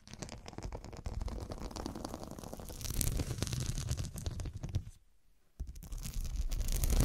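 Long, dark, pointed nails tap and scratch the square faceted glass studs covering a fabric cushion, making a dense, rapid stream of clicks and rough scraping with a soft, low-heavy body. The sound drops to near silence for about half a second near the five-second mark, then resumes louder and brighter to the end.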